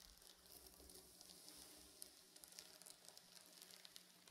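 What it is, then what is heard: Sequin fabric pillow. Painted fingernails scratch and drag across a reversible blue/silver plastic sequin pillow, flipping the sequins to draw silver lines. The result is a quiet, bright, crackling hiss dotted with many small sharp clicks, like a faint sizzle, over a faint steady low hum.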